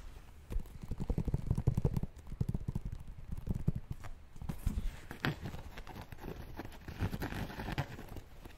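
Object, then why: Sneaker with mesh upper and rubber sole. Fingertips tap and scratch a hollow, empty white and purple Nike LeBron Witness basketball shoe held in the hands, which has a mesh and synthetic upper and a purple rubber sole. Quick, dull, low thuds come in dense bursts that die out almost at once. Softer scratching brushes run between them.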